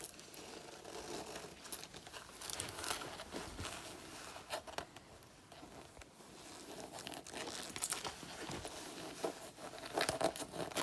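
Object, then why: Synthetic leather jacket. A black faux leather jacket of soft synthetic leather, worn on the body, is scratched across its chest panel by both hands with long natural nails. Dense, bright crinkling and scraping plays continuously, with crisp clawing strokes and crunchy surges that grow louder toward the end.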